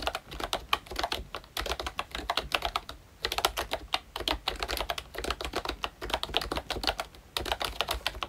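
Both hands tap away with their fingertips on a pink plastic ROYCHE Disney Mickey Mouse retro membrane keyboard with round black keycaps. The result is a rapid run of soft, short, bright clicks, with brief pauses around the 3-second and 7-second marks.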